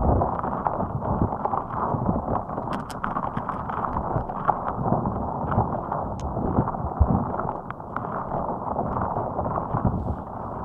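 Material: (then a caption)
Rubber. A fist-sized, hot pink soft rubber spiky puffer ball resting on top of a microphone is squeezed and scratched with long acrylic nails. The result is a dense, continuous, muffled crackling and rubbing with a strong low-end thump, scattered with small pops and sharp clicks.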